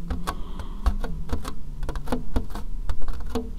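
A hollow, empty white plastic bowl with a ridged inside is held up and tapped with long painted fingernails. The result is a rapid, uneven series of short, dry clicking taps that die away almost instantly, over a steady low hum.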